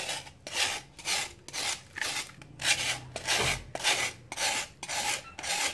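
A solid, dry sand-cement block held in hand is shaved with a metal knife blade over a plastic tub of water. Twelve bright, gritty rasping strokes follow in a steady rhythm, each a short dry scrape separated by brief pauses.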